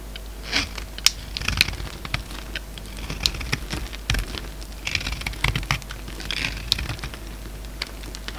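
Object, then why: Bar of soap cut with a blade. A narrow, solid green bar of soap, held in the hand, is chopped and shaved with a utility-knife blade. Brittle chips crack off in a run of sharp, bright clicks and crunchy scraping scattered across the clip over a low steady hum.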